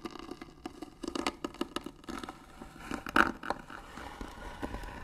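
Fingernails scratch across the lid of a hollow white wooden box with pearl trim and a brass hinge. A rapid series of short, dry, crackly scratches sits mostly in the midrange, with one louder, brighter stroke just past three seconds. The scratching softens into a faint rasp toward the end.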